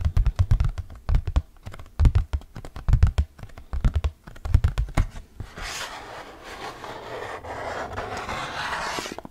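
Fingernails tap and scratch the printed face of an orange hard plastic flying disc. For the first five seconds come quick, dull tapping clicks with low thumps. After that, a steady, bright, rasping scratch runs across the surface until the end.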